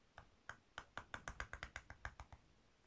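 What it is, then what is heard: Soap bar being carved. A metal carving tool with a purple handle scrapes and shaves curls off a solid, palm-sized pink bar of soap held in one hand, and the shavings collect on the cloth below. Fourteen short, crisp scraping strokes are heard, each a quick dry rasp with a bright edge that dies away almost at once. The strokes come faster and closer together through the middle before spacing out again, all at a quiet level.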